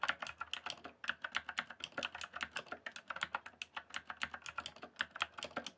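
Fast fingertip typing on a rainbow-backlit mechanical keyboard with plastic keycaps produces around forty quick, clacky keystrokes in a steady, rapid stream. Each click is short and dry, dying away almost instantly, with a bright plastic tone centered in the upper mids and little low-end weight.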